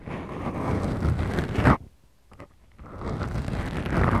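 Long glittery manicured nails squeeze and scratch two small black foam windscreens on the mic capsules of a Tascam DR-40X recorder, producing a dense, deep rumbling crackle. The scratching swells and then cuts off abruptly, leaving near silence with a couple of faint soft taps. It then resumes as a steady low, muffled scrape.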